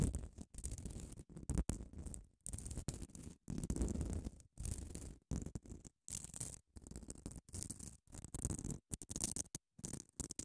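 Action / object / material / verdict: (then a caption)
scrape / grit-coated foam nail buffer block / foam, grit / none. Long acrylic nails scratch across the gritty face of a small grey rectangular nail buffer block, a solid foam core with an abrasive grit surface, held in one hand. Short bursts of dry, rasping scratches come in quick strokes separated by brief silences. Each stroke has a low, muffled body and a faint bright hiss on top.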